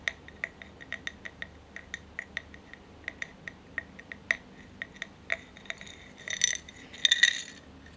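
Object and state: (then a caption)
Glass candle holder. Tapping and scratching on a glass candle holder. A quick run of light, bright glass clinks is tapped out at a steady pace, each dying away almost at once. Near the end this gives way to a couple of short, rougher scratching bursts.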